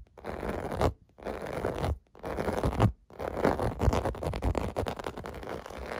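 Fingertips and nails scratch the domes of a clear blue plastic bubble bath mat, making dry, rustling scratches that are fuller in the low and middle range than the highs. Three long scratching passes, separated by short silences, give way to faster, busier scratching that continues to the end.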